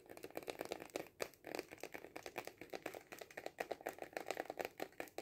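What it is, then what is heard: Cardboard kaleidoscope tube, tapped. Fingernails tap fast on a hollow cardboard kaleidoscope tube standing upright on a table. A rapid run of dry, papery taps with a hollow resonance around 500 Hz, each clicking off almost instantly with little low end.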